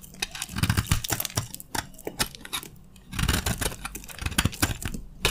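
A utility knife blade shaves crunchy flakes from a solid bar of dry beige soap. Quick, dry crackling scrapes come in dense bursts, each with a short crisp snap and a soft low thump underneath, easing briefly before the shaving picks up again.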